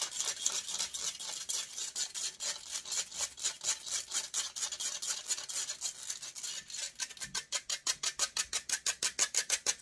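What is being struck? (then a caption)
Metal wire-mesh microphone grille. Long nails scratch and rub hard across a hollow metal wire-mesh microphone grille. The result is a rapid, continuous run of bright, hissy rasping strokes with almost no low end. After about seven seconds the strokes become faster, sharper and more distinctly separated.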